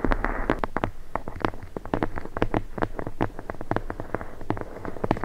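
A thick red leather-bound book, held horizontally with its embossed spine facing up above the microphone, is tapped and scratched along the spine with long blue nails. Rapid, dry, close-up taps land in quick succession with a soft scratching texture between them. The sound is muffled and low-heavy with almost no high end, and each tap dies away almost instantly.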